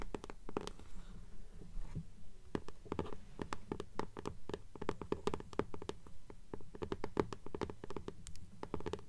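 Long polished nails scratch back and forth across the paper dust jacket of an upright blue hardcover "Fairies" book. Quick, irregular dry scratches and sharp taps stand out over a soft low rumble, each stopping almost at once without ringing.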